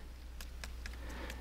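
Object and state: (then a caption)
Plastic pipe full of water. A 1-inch ram pump's delivery pipe, running uphill along a ditch from the creek to a storage tank, is tapped several times, giving short, dull taps over a steady low hum. The muted taps indicate the pipe is full of water.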